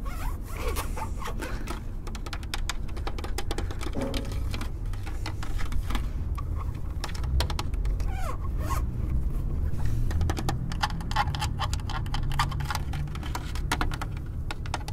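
Fingertips and nails tap and scratch along the spokes of a large, thin-walled, hollow-backed silver plastic wheel cover on a car wheel. Dense, rapid, dry clicks and scratchy rasps come without a break over a steady low rumble. Each tap stops almost instantly, with no ring.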